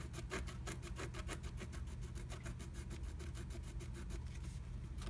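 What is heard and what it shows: A wooden stylus scratches the coating of a flat black-coated scratch art sheet through a blue stencil butterfly cutout. Rapid, evenly spaced scratching strokes give a bright, raspy texture over a steady low hum. The strokes continue at a constant level throughout.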